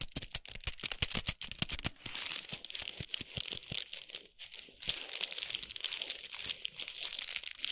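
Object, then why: Foil and paper wrapped chocolate bar. A large foil-wrapped chocolate bar in a paper sleeve rests on a towel while long pointed nails tap and scratch its foil and paper wrapper. Quick, sharp taps open the clip, then give way to dense, bright crinkling and scratching that briefly pauses near the middle before resuming.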